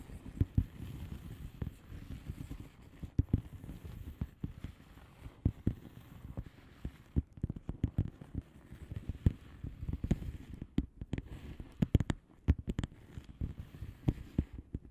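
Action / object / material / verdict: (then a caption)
tap / padded envelope with plastic bubble wrap surface / plastic / none. Long polished nails of both hands tap and scratch the bubbles on the plastic bubble wrap surface of a flat padded envelope. A steady stream of soft, dull, low-pitched taps mixes with faint scratchy rustling, each tap dying away almost instantly. The sound stays quiet throughout, with an occasional sharper, brighter click.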